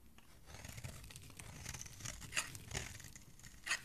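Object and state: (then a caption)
Bar soap being shaved. A metal blade scrapes and shaves a partly carved-out solid green bar of soap into curls. The result is a run of dry, crisp, bright scraping and crackling, with a few sharper, louder strokes near the end.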